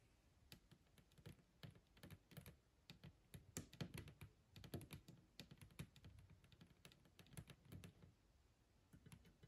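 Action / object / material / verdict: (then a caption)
tap / metal hole punch / metal / none. Long green nails tap rapidly and irregularly on the metal top of a small, old, chrome-plated hole punch with a black base, resting on a wooden surface. Each tap is a short, dry click with a bright tick over a low, dull knock, and it dies away almost at once. The taps come in quick, uneven bursts like typing, with brief quiet gaps between them.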